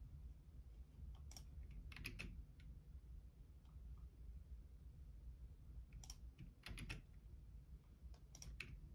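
Fingertips type on the left-side keys of a black plastic Logitech keyboard, producing short, bright plastic clicks in small clusters. A steady low hum sits underneath throughout.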